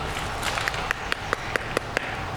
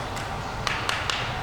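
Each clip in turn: First: open oyster sounding hollow (dying or dead). Second: tightly closed oyster, healthy.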